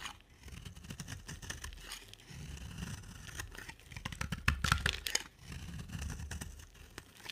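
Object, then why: Bar of soap. A solid oval green soap bar with a dark coating, held in the hand, is scraped and carved with a box-cutter blade that peels off shavings. A steady run of dry, crisp scraping and crumbly tearing strokes with bright crackle over a low rumble, swelling louder mid-clip.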